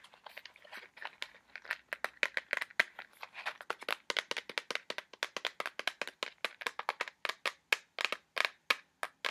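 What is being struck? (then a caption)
Small cardboard box. A small, hollow white cardboard box with red print is tapped and scratched with fingernails in a fast, steady run of about 46 sharp, dry clicks. Each tap dies almost instantly, with a papery crackle centered around 2.5 kHz, bright high edges and no low end.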